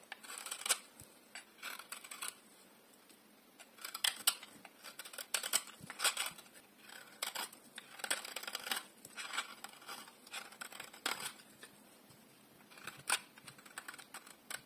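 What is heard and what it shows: A partly carved, solid bar of dry yellow soap is held in one hand and shaved with a metal utility blade. Short bursts of crisp, bright scraping and carving come in uneven clusters, with quiet pauses between them. The sound has almost no low end.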